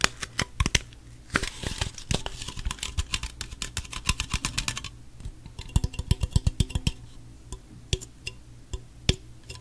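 Fingernails tap rapidly on the body and top of a gold Pepsi aluminum soda can, which appears unopened and is held by hand close to the mic. The result is a steady stream of sharp, bright, dry clicks that die away almost instantly, over a faint low hum.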